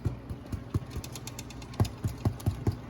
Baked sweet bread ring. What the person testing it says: if you thump it you should hear a hollow thumping